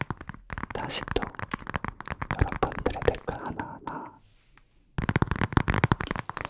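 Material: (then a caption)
Glass. A glass room-spray bottle is tapped in quick, dense bursts of short, dry taps, with the glass part and the labeled part giving slightly different sounds. A pause near 4.2 to 5 seconds is followed by another fast run of taps.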